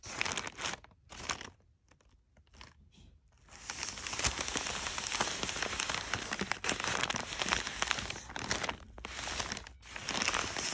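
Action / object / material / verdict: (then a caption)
scrape / crumpled kraft packing paper / paper / none. Fingertips with short nails stroke and scratch along the folds of pleated, crumpled brown kraft packing paper, making it crinkle. Short bursts of dry, bright crackling come first with quiet gaps between them. From about four seconds on, the scratching turns into steady, dense rustling and crinkling.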